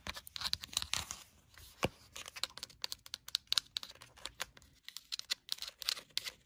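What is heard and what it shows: Long burgundy nails scratch and tap the page block edges and cover of a paper-covered hardcover notebook. The result is a rapid, uneven stream of sharp, bright clicks mixed with dry, papery scratching and crinkling, with almost no low end. Each tap dies away instantly.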